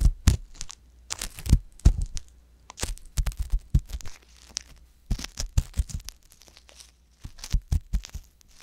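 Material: Silicone.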